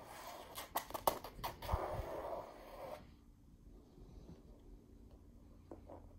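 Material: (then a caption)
Canvas. Long pink nails scratch and trace across a white and yellow floral painting on canvas hanging against an orange wall. For about three seconds there are dry, papery scratching strokes punctuated by short, sharp ticks against the taut canvas. The sound then drops to a near-silent hush with only a few faint, light scrapes.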